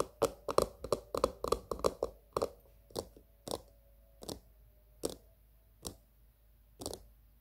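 Long green-painted nails tap the top rim and sides of a small, hollow, glossy pink plastic cylindrical container standing on a patterned surface. Seventeen short, crisp clicking taps come in a quick, uneven cluster at first, then slow and spread out. A faint ringing tone near 550 Hz lingers after some of the taps.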